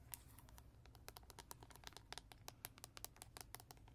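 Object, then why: Hollow hard plastic toy lion. A hollow, hand-sized hard plastic lion toy with a red mane, yellow face and green button sits on a carpet and is tapped and scratched with natural fingernails on its face and mane. It makes a quick, quiet run of sharp, bright clicks and ticks that die away almost instantly, over a low, steady background rumble.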